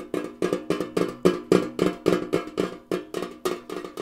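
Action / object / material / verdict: tap / tall rectangular metal tin canister / metal / none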